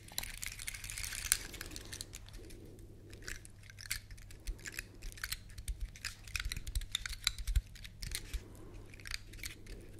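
Long lilac nails scratch a large, dry, elongated brown pine cone with woody scales, held up close to the microphones. Quick, crisp clicks and scratchy rasps snap off the scales in bright bursts, with a brief flurry early on and busier scratching toward the end. A steady low hum runs underneath throughout.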